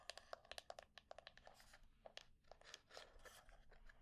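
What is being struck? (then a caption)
Small wooden box with a metal plate. Long painted nails tap and scratch a small hollow wooden box with a small metal plate on one side, held in the hands. A quick run of sharp, bright clicks with a short hollow ring near 660 Hz gives way to rough, hissy scratching in the second half.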